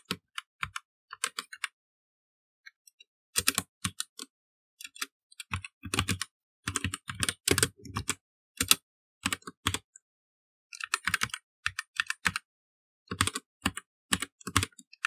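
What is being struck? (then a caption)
Plastic mechanical computer keyboard. Both hands type with their fingertips on the keys of a full-size black plastic mechanical keyboard resting on a wooden desk. Bursts of rapid, bright clacking keystrokes with a low thock beneath them are separated by short pauses. Each click dies away almost instantly.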